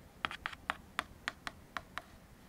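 The teeth of a black plastic comb are scraped and tapped across a large, thin, hollow-backed white molded paper fiber plate held in one hand, and the plate is flipped over along the way. Eight short, dry, papery clicks ring out over faint background hiss, each with a bright crackly edge centered in the upper mids and dying away almost instantly.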